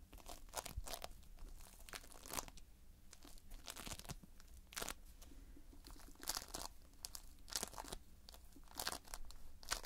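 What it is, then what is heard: Playfoam foam-bead modelling compound being pressed. Fingers press and pinch into multicolored Playfoam, a toy made of foam beads in a sticky binder, producing a rapid series of close, crunchy crackles and crinkling pops. The bursts are short and bright and come in quick, irregular clusters over a low, steady rumble.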